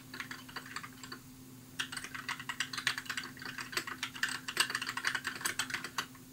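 Fingertips type on a compact white mechanical keyboard with plastic keycaps, producing a steady run of quick, bright clicky keystrokes. A brief lull comes early, then the typing picks up again, all over a faint steady low hum.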